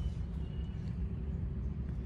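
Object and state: Nothing is struck.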